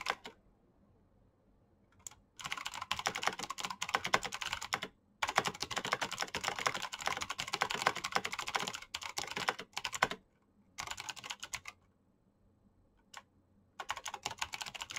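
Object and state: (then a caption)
Plastic mechanical keyboard. Both hands type with their fingertips on a black plastic backlit mechanical keyboard with clicky switches. Fast bursts of sharp, bright clicks and clacks are broken up by short silent pauses. Each keystroke is crisp and dies away almost instantly.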